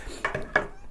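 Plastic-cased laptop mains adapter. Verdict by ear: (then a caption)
Hollow. A cheap 15-pound plastic-cased replacement laptop mains adapter is tapped three times, giving short, dry, hollow knocks with a bright click. It sounds hollower than the official adapter, marking it as vastly inferior to the original.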